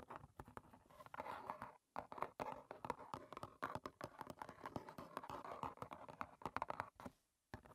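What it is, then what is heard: Cardboard tea box. Long painted nails tap and lightly scratch the front and sides of a small, closed, hollow rectangular cardboard box of Clipper green tea standing on a table. Dense, quick, dry taps mix with soft scratching that centres around 1 kHz, with little low end. There are brief silent pauses near 2 seconds and 7 seconds.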